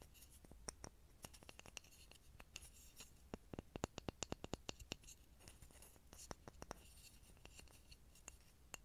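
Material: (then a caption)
Pine wood. A small, solid grooved pine block is moved around a mini microphone and tapped with fingertips. Quiet, dry, sharp taps and clicks come in irregular bursts, each dying away at once. Soft scraping and low rumble sit underneath.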